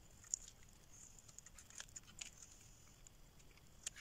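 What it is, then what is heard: Dry soap bar being carved. A solid green rectangular dry soap bar is held in the hand and carved and scraped with a metal blade, peeling off long shavings. Quiet, bright, dry scratching and crackling runs throughout, with a few sharper clicks standing out near the start and the end.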